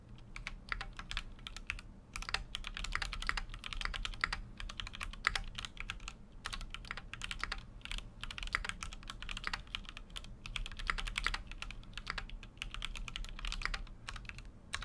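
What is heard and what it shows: Fingertips type continuously on a full-size Keychron Q6 mechanical keyboard with an aluminum case and plastic keycaps. Rapid, bright, clacky keystrokes come in quick bursts with brief pauses, each click short and dry. A steady low hum runs underneath throughout.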